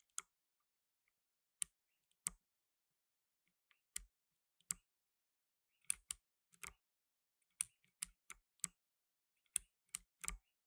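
Fingertips in blue nitrile gloves press the plastic keycaps of a black tenkeyless mechanical keyboard, giving 15 sharp, bright key clicks. The clicks come in sparse, irregular taps and small quick clusters with silence between them, each one dry and with almost no ring. The overall level is quiet.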